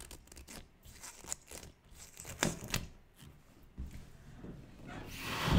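Long manicured nails scratch and tap the surface of a large, inflated, air-filled 24-inch blue latex balloon held against the microphone. Soft, scratchy taps and rubbery squeaks come with a low, hollow thump beneath them. The sound builds to a bright, rushing rub at the end.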